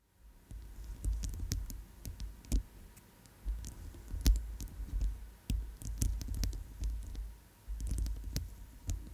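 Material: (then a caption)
Plastic. A chunky white plastic bracelet with magenta oval inlays is held over a foam-covered microphone and tapped and scratched with long chrome nails. Irregular soft, low thumps mix with sharp, bright clicks and brief scratching, over a faint steady hum.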